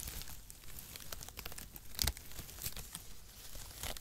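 A bundle of thin zigzag-cut cardboard packaging shreds, a light and hollow mass, is held in both hands in front of the microphone while the fingertips crumple and tear through the strands. The result is a steady stream of dry, bright crackling and crinkling with short tearing snaps, with the loudest burst about halfway through.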